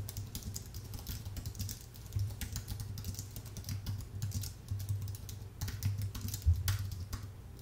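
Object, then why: Aluminium keyboard with plastic keys. Fingertips type steadily on a full-size white Apple Magic Keyboard with an aluminium base and plastic keys. Rapid, light, bright key clicks and taps ring out over a constant low hum, with a few louder strokes near the middle and end.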